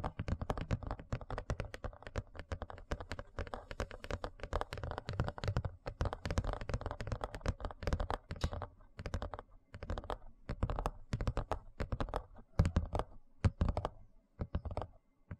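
Fingertips and nails tap and scratch the flat face of a large, thin, hollow-backed white plastic serving tray held upright in front of the mic. Rapid, dense taps produce short, low, hollow thuds mixed with soft scratchy rustles. Each tap dies away almost instantly, and the pattern grows sparser with brief gaps near the end.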